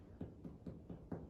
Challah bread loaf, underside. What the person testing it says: knock it a few times if it sounds Hollow that means your bread is done